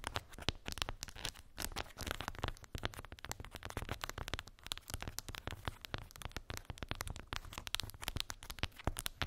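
Long pink acrylic nails tap and scratch across a small square cork board covered in glued round wooden beads. The result is a dense, rapid stream of short, bright clicks and crackly scratching over a steady low rumble.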